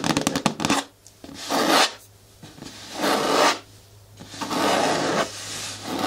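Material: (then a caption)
Plastic. Long nails scratch and rub the front wall of a hollow, medium-hard green plastic bin with a lid. A quick flurry of short, bright clicks opens the clip, followed by slow, rasping scrape strokes that swell and fade at a steady pace over a faint low hum.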